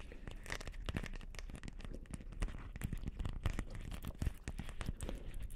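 A palm-sized, hollow, round Christmas ball ornament covered in small light-blue plastic beads is held in both hands and tapped and scratched with long painted nails. The result is a dense, continuous stream of rapid, crinkly clicks and scratchy rustling with sharp, short-lived taps.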